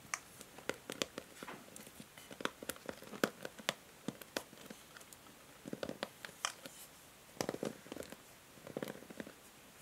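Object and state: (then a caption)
Plastic paddle hair brush. Long nails scratch and tap the plastic bristle pins of a pink and white plastic paddle hair brush held in the hand. Quiet, sharp, bright clicks and brief scratchy rustles come in irregular bursts, with short gaps of near silence between them.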